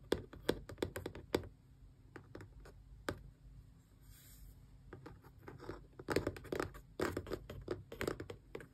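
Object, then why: Small closed cardboard box. Long press-on nails tap the front face of a small, closed, hollow cardboard Xbox controller box in quick bursts. Dry, clicky taps carry a hollow mid-pitched knock with almost no ring. A softer stretch of faint scratching in the middle gives way to louder, denser bursts of tapping at the end.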